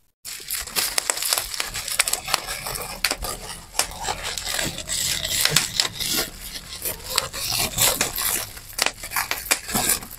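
Air bubbles in a sheet of clear plastic bubble wrap are pressed and popped between both thumbs. A dense, steady run of sharp, bright pops and crackles plays over a constant crinkling hiss, with very little low end.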